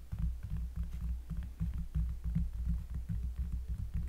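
Close-up finger tapping on a cork surface produces a quick run of deep, bassy, muffled thumps. The taps land at an uneven pace with short decays, and nearly all the energy sits in the low range.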